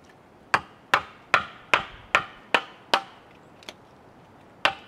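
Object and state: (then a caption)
Cedar log being carved with mallet and chisel. A chisel is struck by a wooden mallet into a large solid cedar log resting on a sawhorse, giving nine sharp wooden knocks and chops in a steady rhythm. The eighth knock is much softer, and a longer pause comes before the last one. Each hit is a short, dry, mid-pitched crack centered near 1.4 kHz with bright edges, dying away almost at once.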